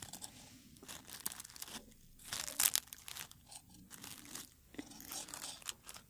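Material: Dried petals.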